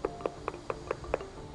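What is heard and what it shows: Knocking on spalled concrete on a building, where the concrete has cracked and pulled away from the corroding steel underneath, gives six quick hollow knocks with a mid-pitched tone. Each knock is short and dies away almost at once. The hollow sound marks the concrete as spalled.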